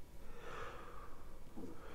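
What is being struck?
Nothing is struck.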